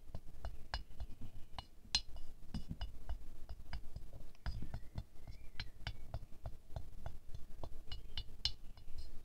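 A wooden stick held in the hand taps the petals and centre of a small, solid, silver-glazed ceramic rose ornament resting on a fur rug. The taps come at a steady, varied pace, each a short, bright clink that dies away quickly over a low, soft rumble.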